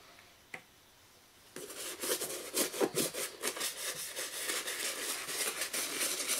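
A toothbrush scrubs the lathered surface of a hollow black and green leather high-top sneaker lying on its side on a wooden chair. After a near-silent start with one faint tick, a steady, bright, scratchy brushing begins in quick, uneven strokes and keeps going to the end.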